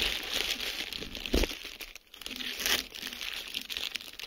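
A clear plastic bubble wrap sheet is crumpled and squeezed with the fingertips of both hands. Steady bright crinkling is broken by sharper pops of air bubbles, with louder bursts around 1.4 and 2.7 seconds and a brief lull near 2 seconds.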